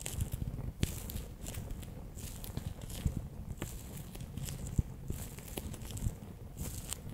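A fingertip presses and rolls orange water beads inside a bear-shaped clear PVC pouch, making soft, low, squishy crackles and sticky taps. Brief brighter clicks and crinkles come through as the beads shift under the plastic.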